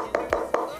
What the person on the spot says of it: du plastique, hein. Ça sonne plastique, il y a un petit anneau de caoutchouc quand même, tout autour.